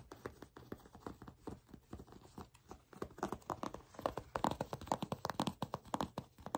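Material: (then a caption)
Leather. Long pink-polished nails tap and scratch the soft, flexible surface of brown shiny leather (possibly faux) pants held in one hand. Dense, quick clicking taps with short crinkly scratches blend together, growing louder and brighter in the second half. The effect resembles small bottle-cap clicks.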